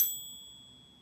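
A 24 karat gold Buffalo coin, a very soft metal, is held in a coin-holding device and pinged. It gives a delicate, high, bright ringing jingle that fades quickly and leaves thin tones lingering faintly. The ring marks it as genuine 24 karat gold and one of the best-sounding 24 karat coins.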